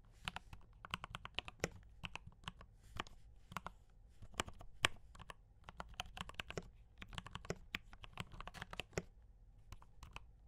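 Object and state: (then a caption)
Mechanical keyboard with plastic keycaps. Fingertips of both hands type rapidly on a full-size D84 mechanical keyboard with Gateron brown switches and cream and red plastic keycaps, resting on a desk. The clip is a dense, uneven stream of short, crisp key taps with a bright clack over a soft low thud; each one stops almost instantly. A faint low hum sits underneath throughout.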